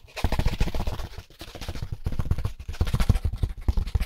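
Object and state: Styrofoam packaging insert.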